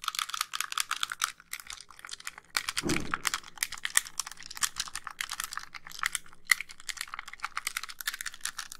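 Long pink nails rapidly tap and scratch the casing of a white, hollow plastic handheld game console held in both hands. The result is a dense stream of short, bright, clicky taps with almost no ring, plus a brief, lower rubbing scrape near the three-second mark.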